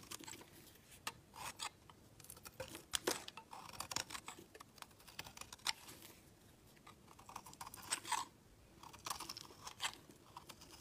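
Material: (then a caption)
Soap. A steel utility knife blade shaves along the edge of a solid, palm-sized white bar of soap, peeling off flaky shavings. It makes quiet, dry, crisp scraping and crunching strokes that come in uneven bursts with a bright, hissy edge and almost no low end.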